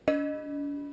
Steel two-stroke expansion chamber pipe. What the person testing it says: just a little bit higher. See, it's just a little sharp.